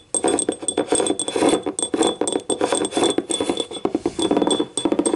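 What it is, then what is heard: Ceramic cup. Long nails tap rapidly on the ribbed side and rim of a small, hollow, empty yellow ribbed ceramic cup, giving a dense stream of clinking sounds. The bright clinks cluster around a mid pitch near 470 Hz, ring only briefly, and blur into a continuous rattling patter with faint steady high tones behind it.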